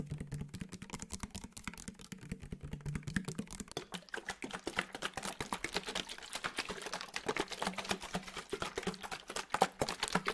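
A clear round plastic spray bottle with a white trigger sprayer, partly filled with liquid, is held close to the microphone and tapped rapidly with fingertips and nails. The result is a dense run of short, dry clicks with a bright edge, over a faint low hum during the first few seconds.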